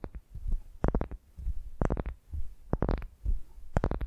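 Long nails on both hands scratch and tap a solid pale wooden ball resting on a microphone. The close contact produces deep, boomy thumps and soft scratchy rumbles, with clusters of sharp, bright clicks from the nail taps recurring in short bursts.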